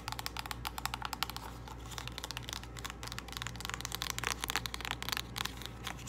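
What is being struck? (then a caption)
Small cardboard box with a plastic window. Long nails tap quickly on the face and along the narrow edge of a small, hollow purple cardboard false-eyelash box with a plastic window, close to the microphone. The taps are crisp, bright, dry clicks centered around 1.4 kHz that die away almost instantly, with a steady low hum underneath. They come in quick bursts and grow denser and louder in the second half.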